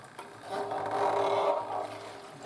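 A steel Suzuki TS50 motorcycle fuel tank with solvent inside is held horizontal and moved around, and the liquid sloshes with a hollow, swirling sound that swells and fades. The rubber gasket under the cap stays dry, so the tank does not leak.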